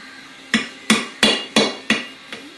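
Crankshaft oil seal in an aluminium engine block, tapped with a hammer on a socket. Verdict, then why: Not seated. A brass hammer taps six times on the butt end of a socket to drive a rubber-and-metal crankshaft oil seal down into an aluminum Blockzilla engine block, the last tap lighter. Each strike is a sharp, bright metallic tick with a short ring and a steady pitch. The oil seal is not yet seated flush; these taps come before the pitch change that marks seating.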